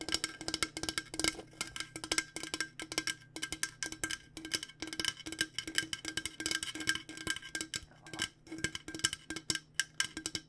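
Both hands tap a hollow, purple-coated insulated stainless steel water bottle with long nails in a fast, steady stream. Each tap is a short, bright click with a faint metallic ping near 1.6 kHz and a softer lower knock. The taps fall in quick, uneven bursts with no pause.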